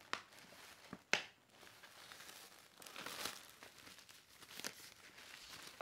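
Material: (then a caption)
Paper. A small, empty purple paper gift bag with a dotted pattern and a price sticker is handled with both hands by its rope handles and sides, above a pile of other bags. Soft, bright paper crinkling and rustling runs throughout, broken by a few sharp, quick crackles and snaps.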